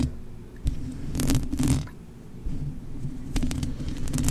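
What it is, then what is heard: Foam microphone windscreen, scratched. Long manicured nails scratch and tap across the black foam windscreen on a blue USB microphone, a soft, hollow-backed cover. The result is a muffled, boomy rumble dominated by low frequencies, with brief bright scratchy bursts near the middle and end. Each touch fades almost at once.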